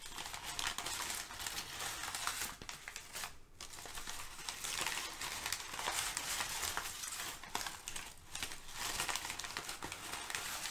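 Fingertips and nails lift, crumple and rub several crinkled sheets of thin brown kraft packing paper. The result is a dense, continuous, bright crinkling and crackling, with brief lulls around three and a half and eight seconds.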